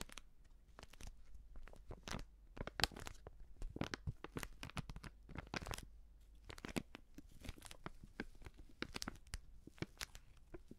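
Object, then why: Plastic seasoning pouch. Fingers crinkle and bend a filled, medium white Prix Garantie plastic seasoning bag. The result is a dense run of sharp, bright crackles and crunchy rustles over about eleven seconds, each burst dying away almost instantly, with a faint low rumble underneath.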